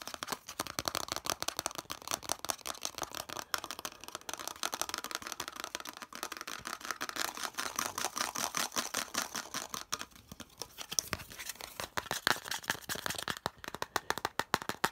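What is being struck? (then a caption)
Molded plastic piece. Fingernails rapidly tap and scratch the flat face of a hollow molded yellow plastic piece. The result is a dense stream of short, bright clicks and scratchy rasps with very little low end, each tap dying away almost instantly.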